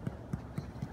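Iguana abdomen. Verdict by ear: Hollow.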